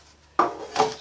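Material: Bread.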